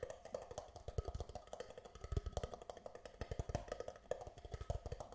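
An empty, hollow, thin red plastic disposable party cup is held upside down in both hands while fingertips and nails tap rapidly on its sides and base. The result is a fast, uneven stream of dry, hollow knocks with deep, low thumps and a boxy midrange tone, each tap dying away almost instantly.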